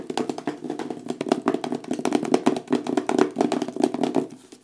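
A small black printed cardboard box with a photo on the front, likely hollow, is held in both hands and tapped and knocked quickly with fingertips and nails. The result is a rapid, continuous stream of short, dull, hollow taps with a low-mid body and almost no ring, fading out at the end.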